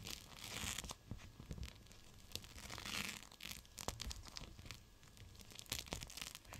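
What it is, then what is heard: Gel bead hot/cold pack in plastic pouch. A clear plastic pouch of teal gel beads, a cold/hot pack, is squeezed and crinkled by fingertips. It gives a steady run of bright, crackly crinkling with short, sharper crunches rising out of it. Each sound dies away almost at once.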